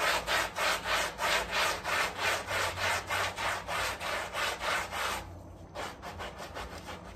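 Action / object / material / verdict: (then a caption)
scrape / woven textile rug scrubbed with a stiff brush / textile / none. A gloved hand scrubs a small, flat woven area rug, heavily dirty and muddy and covered in soapy foam, with a long-handled round brush. Quick, steady back-and-forth strokes make a bright, rasping swish at about three per second. Near the end the scrubbing pauses briefly, then resumes with softer strokes.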